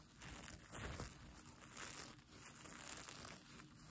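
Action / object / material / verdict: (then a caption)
scrape / plastic sequin-covered fabric blanket / plastic sequins / none. Fingertips and nails scratch and brush across a plastic sequin mermaid tail blanket, a sequin-covered fabric blanket held up in the air. The result is a steady, dry crinkling rustle with bright, fine clicking from the sequins. It swells and fades in several overlapping strokes without clear gaps.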